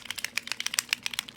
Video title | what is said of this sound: Bead with Me! Memory Wire Bracelet and Using Patina! | shake it for you so you hear the ball rolling